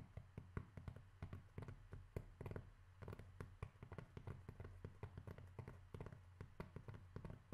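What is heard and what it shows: Continuous tapping on cork makes a quiet stream of rapid, dull, low-pitched taps. Each tap dies away almost instantly with no ring.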